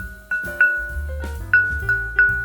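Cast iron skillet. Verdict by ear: Uncracked.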